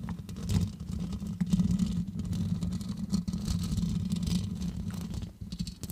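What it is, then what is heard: Metal mesh microphone grille. Long acrylic nails on both hands scratch and tap the black metal mesh grille of a large hollow condenser microphone throughout. The result is a dense, continuous low rumble with a steady hum near 184 Hz, broken by brief scratchy bursts that reach up into the high range.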